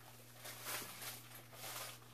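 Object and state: Nothing is struck.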